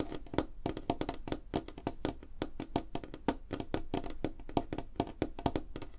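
Both hands rapidly tap a large, flat, solid light-wood tabletop (possibly veneer) with long fingernails and fingertips. The result is a quick, steady stream of short, dry, woody clicks and knocks with a hollow body around 300 Hz and almost no ring.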